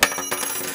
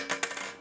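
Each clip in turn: First: real gold coin. Second: fake gold coin.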